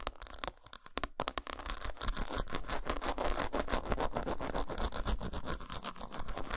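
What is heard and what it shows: Long pointed nails scratch and tap quickly on the patterned side of an unwrapped, solid dark chocolate bar. Dense, irregular dry scrapes and crisp clicks run steadily throughout, with a soft low thud under each tap and a bright scratchy edge.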